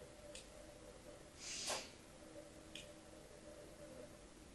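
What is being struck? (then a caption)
Bar of soap. A solid rectangular pink bar of soap, held in a hand with long painted nails, is scored and scratched with the tip of a thin metal blade. A faint bright tick sounds first, then a soft, hissy scrape swells and fades, followed by another light tick over a quiet, steady low hum.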